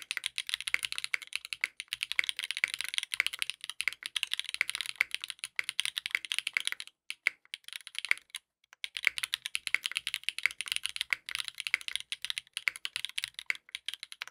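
Both hands type continuously with their fingertips on a compact 60% mechanical keyboard with a dark purple case, purple ABS plastic keycaps and a polycarbonate plate, resting on a desk mat. Rapid, bright, crisp key clacks run in a dense stream with very little low end. The typing breaks briefly around the middle before picking back up.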